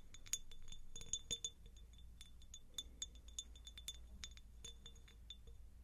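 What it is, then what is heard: Empty cut-glass jar. A medium, hollow, empty cut-crystal glass jar is tapped with long nails in a quick, irregular series. Each tap gives a short, bright glassy clink with a high ringing tone that fades almost at once, over a low steady background hum.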